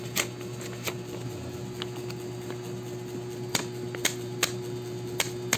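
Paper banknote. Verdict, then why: Real. A genuine paper banknote is handled and flicked, giving about nine sharp, crisp snaps with bright high-frequency edges, each dying away almost instantly. A steady low hum and faint tone run underneath throughout. The note sounds crisp, as a real banknote should.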